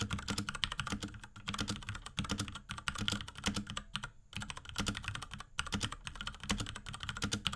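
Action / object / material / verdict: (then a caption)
tap / plastic mechanical keyboard / plastic / none. A small pink Akko X Ducky 3084 mechanical keyboard with Cherry MX Brown switches and a plastic case and keycaps is typed on rapidly with the fingertips of both hands. A dense run of short, bright plastic clacks sits over a low thocky body, broken by brief pauses in the typing.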